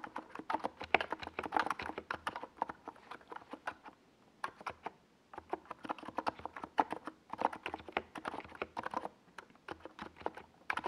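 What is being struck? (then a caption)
Plastic mechanical keyboard with SA keycaps. Fingertips type rapidly on a compact NiZ Plum Atom 68 mechanical keyboard with a hollow white plastic case and purple Domikey Gas Attack SA plastic keycaps. Bursts of short, clacky key taps with a mid-range body and little low end are broken by a brief pause around the middle.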